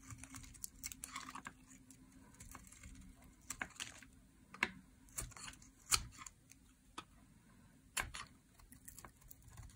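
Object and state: Dry soap bar being shaved.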